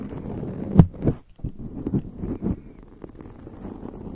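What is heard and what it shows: Long acrylic nails on both hands scratch and rub a black foam microphone windscreen. The result is a run of muffled, low-pitched thumps and brushing scrapes, sharpest just before the one-second mark, that fade into a softer, steady rustle.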